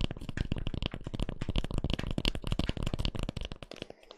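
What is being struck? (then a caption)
Cork peanut massage ball. A hand-sized solid cork double-ball (peanut-shaped) massager, held upright next to the microphone, is scratched with long fingernails. The result is a rapid, irregular stream of short, dry scratchy ticks with a heavy low-end thump and a bright crackle on top. It fades softer toward the end.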